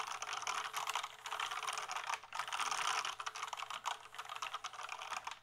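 Fingertips type on a full-size plastic gaming keyboard with a small display, held up. A rapid stream of bright, crisp plastic key clicks comes in dense bursts with brief pauses, each click dying away almost at once.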